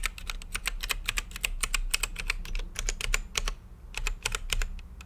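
Fingertips type on an RGB-lit mechanical keyboard with plastic keycaps and a clear acrylic case, producing a quick, steady run of sharp, bright clicks and clacks centred around 2.5 kHz that stop dead with no ring. The typing pauses briefly around the 3.6-second mark before resuming, over a faint, steady low hum.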